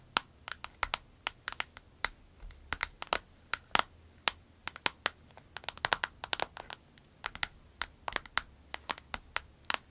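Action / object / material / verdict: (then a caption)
tap / clear vinyl pencil case with pens inside / vinyl / none. Long nails tap and squeeze a small, clear orange vinyl pencil case held upright with pens inside. The result is an irregular stream of dozens of crisp, bright clicks and crinkles with almost no ring, separated by quiet gaps.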